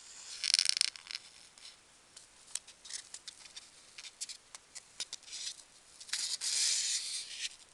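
A single small, light-green, solid expanded-polystyrene packing peanut is held between fingertips and squeezed and rubbed with long dark-painted nails over an open box of peanuts. The sound is bright, thin scratching and squeaking with no low end: a louder crackly burst at the start, a string of short sharp ticks and rubs in the middle, and a longer rasping squeeze near the end.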